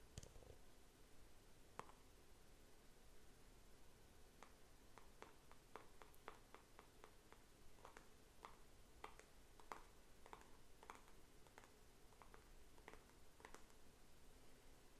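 A small white plastic paint tub with a screw lid and label is held in the hand and tapped and scratched with fingernails. Quiet, sharp clicks with a brief hollow ring near 1.1 kHz sound out irregularly over a soft low background hiss.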